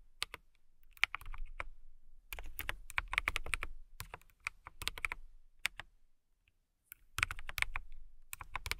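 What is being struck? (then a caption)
Mechanical keyboard with clear acrylic case and plastic keycaps. Long manicured nails and fingertips type on a compact KiiBOOM Phantom 81 mechanical keyboard with clear plastic keycaps and a clear acrylic case, RGB lit. Quick runs of bright, clacky keystrokes, each with a short low thock and almost no ring, come in bursts separated by brief pauses.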